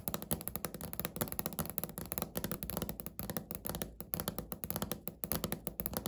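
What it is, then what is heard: Laminate countertop, solid. Natural fingernails tap quickly on a flat, solid, speckled beige laminate countertop, recorded close-up. Dozens of short, dry clicks with a low thud at about 164 Hz follow one another rapidly, each dying away almost instantly.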